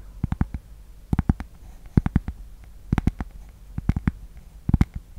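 A thin, solid, flat rectangular cork board or coaster, held close to the microphone, is tapped and scratched with long painted nails. The result is clusters of quick, dull, low taps with almost no ring, some with a faint brighter click, separated by short quiet pauses.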